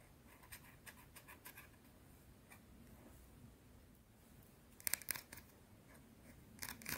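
A small, round, flat, solid white soap bar is scratched with long blue nails, making a quiet run of crisp, bright scratches and taps. Two sharper, louder clicks stand out near the end, followed by a final burst of scratching. A possible breath is heard.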